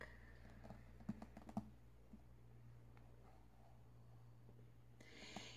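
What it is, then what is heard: Paperback book tapped with nails. Long metallic nails tap quickly on the back cover of a thick paperback book, paper with a card cover, lying closed and solid on a table. A cluster of short, dull clicks stands out early, followed by fainter scattered taps over a steady low hum. A brighter hiss rises near the end.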